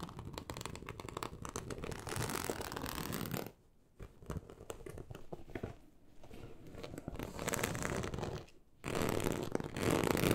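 Long acrylic nail tips scratch across a large, flat, teal snakeskin-embossed leather sheet, producing dense, raspy, broadband scraping with a low rumbling undertone. The scratching runs in steady bursts, broken by two brief near-silent pauses near 4 and 8.7 seconds before resuming.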